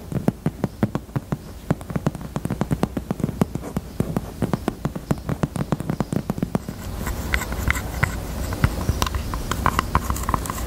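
Long teal nails tap rapidly on the front of a pink, hollow, handbag-size heart-shaped hard-shell purse in faux leather. The taps are quick, dry, low-pitched knocks with almost no ring. Around seven seconds in they give way to a denser, brighter stretch of tapping.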